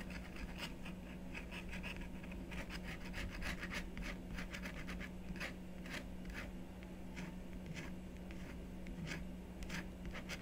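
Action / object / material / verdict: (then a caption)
scrape / scratch-art paper board with wooden stylus / coated paper / none. A wooden stylus scratches curved lines through the coating of a black scratch-art card resting on a wooden table. Short, bright, raspy strokes repeat in quick succession over a steady low hum that persists throughout.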